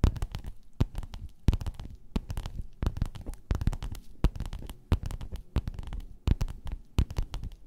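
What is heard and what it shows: Long nails scratch and tap across a folded gold metallic, croc-embossed faux-leather pillowcase lying flat. The result is a steady run of dry, crackly scrapes broken by sharp, quick taps that die away at once, with a soft, low, thumpy body under each touch.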